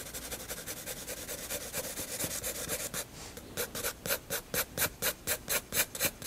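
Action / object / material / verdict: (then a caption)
scrape / paper sketchbook page with graphite pencil / paper / none. A graphite pencil hatches shadows on the neck of a drawing with rubbing strokes across a flat white paper page of a spiral sketchbook. A bright, dry scratching comes in quick, close-set strokes, then a brief softer pass around three seconds. After that come slower, louder, more clearly separated back-and-forth strokes.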